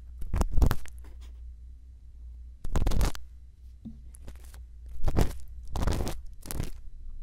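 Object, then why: Silicone ear of a binaural microphone, bamboo earpick. A thin bamboo earpick scrapes inside the canal of a silicone ear on a binaural microphone while a hand holds the mic. Close, crunchy scratching bursts come in uneven clusters, bright and papery, over a steady low rumble.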